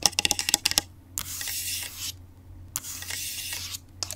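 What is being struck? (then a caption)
Aluminium laptop body and keyboard. Long acrylic nails on one hand tap and scratch the palm rest and keyboard area of an open grey aluminum laptop with its screen on. About nine quick, bright clicking taps come first, followed by two longer hissing scratch strokes across the metal and a few final taps. A faint low hum runs underneath throughout.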